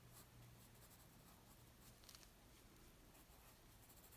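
A graphite pencil scratches short strokes across a flat white paper sheet on a wooden table while a figure is sketched. The sound is a quiet, continuous dry scratching hiss with brief brighter rasps, over a steady low hum.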